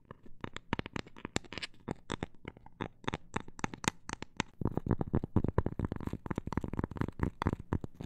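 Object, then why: Cork coaster. A cork coaster is tapped in a quick, irregular series of short, dull, low-pitched taps that die away almost at once. Around halfway through, the tapping becomes denser and slightly louder.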